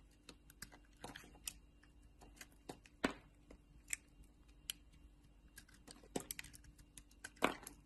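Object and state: Bar soap being carved.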